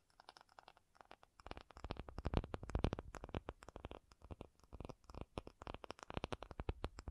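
An acrylic object is tapped with rapid, uneven taps that start soft and sparse, then grow louder and denser after the first second and a half. Each tap is short and dull, with most energy low and almost no ring, giving a soft, thumping clatter throughout.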